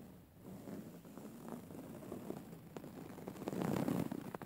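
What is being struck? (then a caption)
Woven fabric pillow. Long fingernails scratch back and forth across the cover of a soft, filled, grey woven-fabric pillow. It makes a quiet, muffled, low-pitched scratching rustle with a steady rhythm of quick strokes. The sound grows fuller and louder toward the end.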